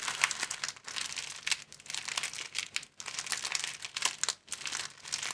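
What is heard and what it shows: Both hands squeeze and bend a thin, clear, hand-sized plastic film folded into an empty long flat sleeve, crinkling it with the fingers. The result is bright, dense crackling in bursts, with short quiet gaps in between and almost no low end.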